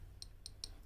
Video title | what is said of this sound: Escapement Time Classique Dress watch | it sounds very tinny you know just tapping on it with my nail